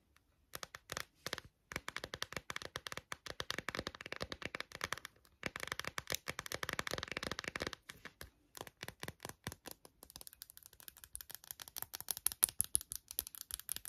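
Long acrylic nails rapidly tap and scratch a hand-sized, hollow, clear textured plastic phone case with a glitter rim and no phone inside. The result is a dense stream of crisp, bright clicks and scratchy rasps with almost no low end, each one dying instantly, broken by a few brief pauses.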